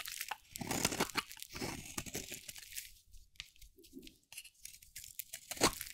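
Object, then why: Bar of soap carved with a metal blade. A metal blade carves and scrapes curls off a hand-held bar of dry, solid cream-white soap with a teal outer layer. Dry, bright crunching and scraping strokes come in quick bursts with short pauses between them, each dying away almost instantly.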